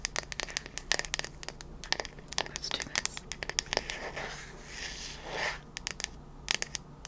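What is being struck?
Bamboo wooden hairbrush back.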